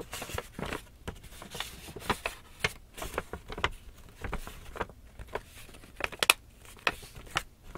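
Long nails tap and scratch across the flat face of a small, empty black paper shopping bag held up facing forward. Quick, dry, papery taps with bright crinkly scratching come in an irregular run, with a few sharper louder taps near the end. Each sound stops almost instantly.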